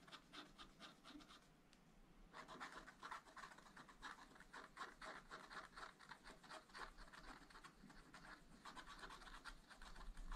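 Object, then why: Wax-coated scratch-art paper page scratched with a wooden stylus. A wooden stylus scratches flower details into a black, wax-coated scratch-art page in a small spiral-bound pad of thin, flat paper. Quick, uneven, dry scratching strokes come about four per second, with a bright, raspy texture. A brief quieter pause falls near the two-second mark before the scratching resumes.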